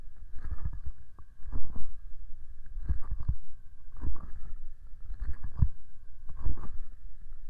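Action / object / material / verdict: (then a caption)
tap / hollow plastic microphone housing / plastic / none. Medium-length painted fingernails and fingertips tap and scratch the front and top of the white, rectangular, hollow plastic casing of an SR3D binaural microphone, about 25 cm wide, mounted on a small tripod. The result is dull, bass-heavy thumps in clusters roughly every second, with a soft, scratchy rasp between them.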